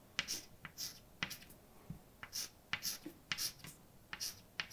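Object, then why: Chalk on a blackboard. A hand writes letters with white chalk on a large, dark, solid flat blackboard. The result is a run of short, bright chalk taps and scratchy strokes, mostly high in pitch with little low end. Each sound is dry and dies away almost instantly, with brief quiet gaps between strokes.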